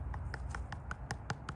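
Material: Concrete.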